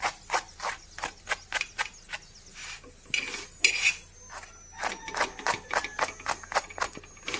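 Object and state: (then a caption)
Crispy toasted chapati roll. A chapati sandwich roll, roasted on a pan until crispy, is tapped with cutlery and gives a run of sharp, bright, crunchy crackles with a short rustling stretch in the middle. The crisp sound shows it is well cooked and very crispy.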